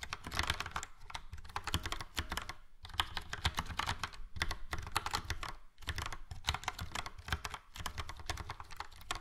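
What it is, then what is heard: Plastic mechanical keyboard. Fingertips of both hands type on a full-size plastic mechanical keyboard, a Logitech POP Keys with a yellow frame and round dark grey and light grey typewriter-style keycaps. A rapid, steady stream of short clacky keystrokes pairs a low thock with bright clicks. The clicks stop dead with no ring, and brief pauses break the typing near 2.7 and 5.8 seconds.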